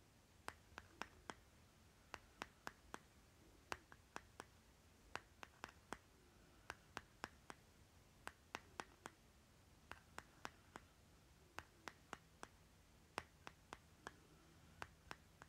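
A fingernail taps and scratches the label on the lid of a small round green plastic lip butter jar held in the hand. About 39 quiet, sharp, dry clicks come in irregular bursts over a faint steady background hiss, each dying away almost instantly.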